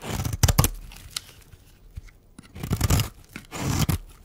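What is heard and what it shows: A metal blade shaves curls off a solid, dry pink oval bar of soap held in the hand. The scraping strokes come in rough bursts with a crisp, crunchy tearing texture, mostly low and dull with brief bright edges and short pauses between them.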